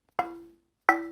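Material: Walnut wood.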